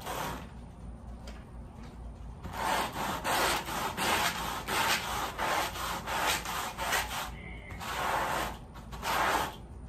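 A wet, foamy woven pile area rug lying on a plastic sheet is scrubbed with a red-handled white bristle brush. After a quieter stretch of soft rubbing, the brush makes louder, steady rasping strokes with a bright, hissy texture centered around 850 Hz.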